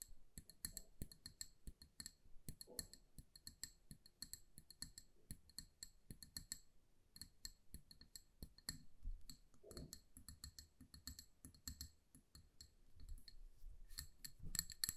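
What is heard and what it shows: Long nails tap rapidly and continuously on a hand-sized amber glass jar filled with candle wax and bearing a paper label. The taps are quiet, short clicks with a bright, high glassy tick over a soft low thud, each dying away almost instantly.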